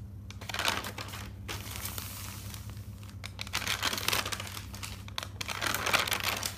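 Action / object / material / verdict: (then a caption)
scrape / paper notebook pages / paper / none. Fingers with dark nails turn the pages of an open, thick paper notebook, making a continuous dry rustling and crinkling. Bright, crisp paper swishes rise and fall over a steady low hum, with louder page flips standing out near the start and toward the end.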